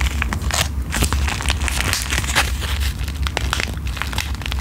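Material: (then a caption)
Plastic foil. Long green-painted nails tap, scratch and crinkle the surface of a small, flat, sealed pink plastic-foil sheet-mask sachet printed with Korean text, held in front of the microphone. Dense, bright crackling and crinkling with quick ticking taps runs continuously over a steady low hum.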